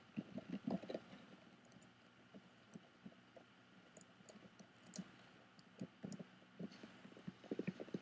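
Fingertips and nails tap and scratch the woven texture of a hollow, bamboo-covered box with a metal clasp, while both hands grip its sides and front. The result is a quiet, uneven run of soft, hollow, low-pitched knocks that die away almost instantly, with faint, bright scratchy ticks mixed in.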